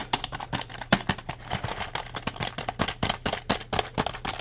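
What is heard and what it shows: A black plastic tenkeyless keyboard, held vertically, is tapped quickly on its keys with the fingertips. The result is a rapid, uneven stream of dry, bright plastic clicks, each dying away almost at once, over a faint steady low hum.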